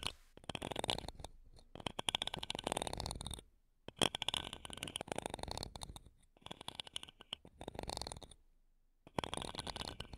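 Wooden toothpicks held between long nails scratch across the metal mesh grilles of two small silver condenser microphones. Bursts of dense, rapid scratching and crackling with bright, hissy tops come in several stretches, separated by brief quiet gaps.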